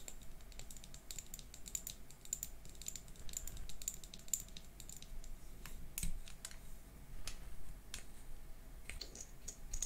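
Long manicured nails tap quickly and lightly on a small, closed, hollow pink plastic liquid lipstick tube with a gold cap, held in both hands. The result is a soft, steady patter of crisp, bright clicks that die away almost instantly, over a quiet low background hum.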